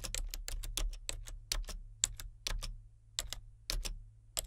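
Fingertips type steadily on the main keys and number pad of a solid, full-size plastic membrane computer keyboard with a colour-changing backlight. Quick, dry key clicks with bright tops land in an uneven rhythm, each dying away almost instantly, over a faint, steady low hum.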